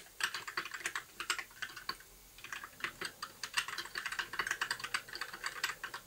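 A compact white 60% mechanical keyboard with plastic keycaps and an RGB backlight is typed on with the fingertips of both hands in continuous key presses. It makes a quick run of dry, bright clacks with almost no low end and very short decay. There is a brief pause just after two seconds before the typing resumes steadily.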